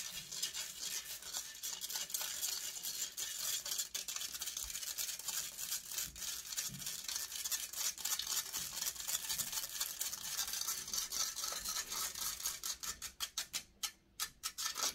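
Long nails scratch fast across the hollow metal mesh grille of a large silver condenser microphone. The result is a dense, bright, hissing rasp of rapid strokes with almost no low end, which breaks into separate quick swipes with short gaps near the end.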